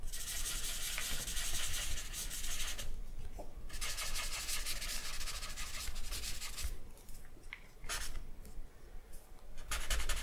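A dark charcoal stick is rubbed and scratched across a large sheet of white drawing paper lying flat on a wooden table, working on a charcoal portrait. The sound is a steady, bright, airy hiss with short scratchy bursts that come and go, over a low rumble.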